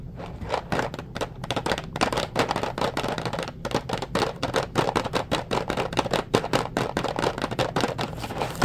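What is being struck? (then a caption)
Cardboard pasta box. A blue Ronzoni pasta box of hollow cardboard, probably with pasta inside, is held in hand and tapped and scratched with the fingertips. The result is a steady run of quick, dry, papery taps and scratchy rustles centered in the midrange, with short crisp attacks that die away almost at once over a faint low hum.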